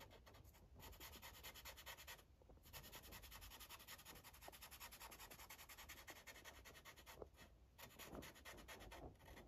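The felt tip of a yellow Sharpie marker rubs over a thin paper coloring page resting on a clipboard in steady, continuous strokes. It makes a soft, bright, scratchy rubbing hiss, with a few brief pauses as the strokes change.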